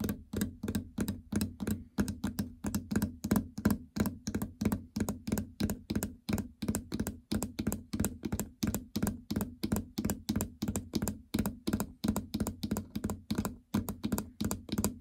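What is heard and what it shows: Long fingernails and fingertips tap rapidly on the incline and stop/enter membrane buttons and the hollow housing of a plastic treadmill control panel. Dozens of short, hollow thunks and clicks come in an uneven rhythm, each dying away almost at once, with a low, woody body around 200 Hz.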